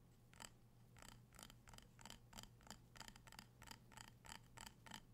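Fingertips and nails tap the sides and rim of a small amber glass jar filled with candle wax, held in the hands. About 15 quiet, short, bright clicks come at an uneven pace, each with a faint glassy ring near 3 kHz. A steady low hum sits underneath.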